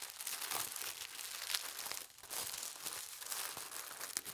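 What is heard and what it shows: Fingers and nails crease and press the fold as a sheet of thin holly-print tissue paper is folded into a narrow strip. It makes a steady, bright, papery crinkling with soft rustles and small crisp snaps, and it eases briefly near the middle before continuing.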